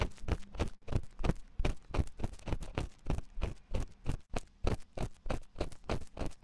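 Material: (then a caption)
Silicone. A wooden ear pick scratches inside the ear canal of a white silicone ear on a 3Dio binaural microphone. It makes rapid, uneven scraping strokes, about three per second, each a short, muffled, low-heavy thump with a brief bright rustle. The sound carries no ring between strokes.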